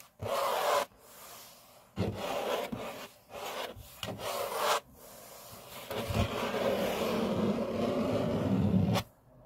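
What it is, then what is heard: Laminate tabletop, rubbed and scratched. Fingertips and short nails rub and scratch back and forth across a large, flat grey laminate-topped table. Bursts of dry, broadband friction noise come in uneven strokes separated by short pauses, ending in one long continuous rub with a low rumble underneath.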